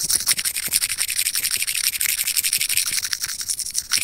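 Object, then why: Small plastic earphone mic remote. Curved steel tweezers scratch quickly across a small, hollow, white plastic earphone mic remote. The result is a steady run of rapid, dry, bright scraping strokes with a high hiss and almost no low end.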